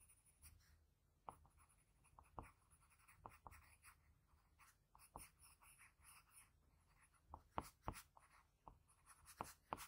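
A graphite pencil with a blue patterned barrel, held in the fingertips, makes short scratching shading strokes around the eye of a pencil portrait on a flat sheet of drawing paper. Quiet, dry scratches come in a quick, irregular series, each a brief bright rasp that stops almost at once over a soft low background hush.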